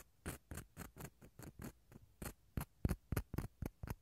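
The empty inside of a small, hollow, dried gourd half is scraped with a wooden toothpick. A quick, uneven run of short, dry scratching strokes follows, each with a low, hollow body and a faint bright edge, fading almost instantly between strokes.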